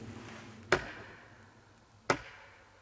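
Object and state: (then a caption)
Metal tripod lightly tapped by a handheld meter. A K2 meter held in hand lightly taps twice against a metal camera tripod while turning around, producing two short, sharp metallic ticks about 1.4 seconds apart over a faint background hiss. The taps are very light but sound louder because the microphone gain was set to maximum, so the mysterious noise is explained as ordinary contact with the tripod.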